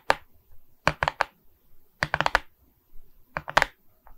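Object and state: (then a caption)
Resin bead diamond painting tapped with nails. Long red nails tap and scratch across the plastic bead surface of a framed resin bead diamond painting on board, held in both hands. Sharp, dry clicks arrive in quick clusters of two to four, ringing around 900 Hz with a bright edge and stopping almost instantly. Faint, soft scratching fills the quiet gaps between them.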